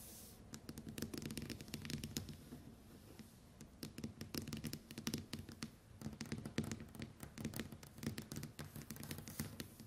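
Long white nails tap rapidly on the glass screen of a small, flat smartphone with a metal-look frame lying face up on a table. The result is a dense stream of quick, dry clicks and light scratchy taps that stop instantly with no ringing, over a faint low hum.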